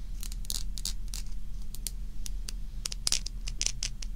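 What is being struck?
Stack of thin scallop shells.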